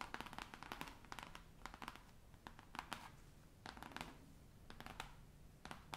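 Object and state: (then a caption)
Cloth-bound hardcover atlas. Long nails tap and scratch the cover of a large, solid, navy cloth-covered hardcover atlas lying flat. Quiet, crisp clicking taps arrive in quick clusters with brief pauses between them, mixed with soft, bright scratching rasps across the cloth. Each tap dies away almost at once.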